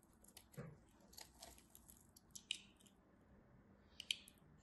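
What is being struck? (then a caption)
Soap bar scraped with a metal blade. A metal craft knife carves along the edge of a solid cream soap bar, shaving off crunchy crumbs. Quiet, bright, crisp scrapes and crackles come in uneven bursts, with two sharper snaps near the middle and end. Each sound is dry and stops almost instantly.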